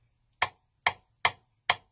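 A filled, solid metal silverware knife handle is tapped on metal four times, giving four short, dull taps with a brief ring centered around 2 kHz. The dull tone shows the handle is solid rather than hollow.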